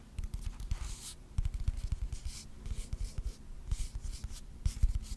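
Fingertips and nails tap and scratch the sides of a small rectangular wooden box with visible grain, likely hollow, held in the hands. A quick, uneven series of low, dull knocks with almost no ring mixes with short, bright scratching swishes. The result is a soft, close, dry tapping and rubbing texture.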